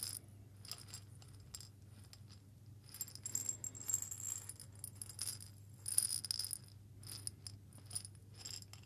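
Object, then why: Small glass jar with metal lid holding coffee beans. A small hollow glass jar with a metal lid, partly filled with coffee beans, is shaken by hand. Soft bursts of bright, crisp rattling and clinking come and go over a steady low hum, with short quiet gaps between the shakes.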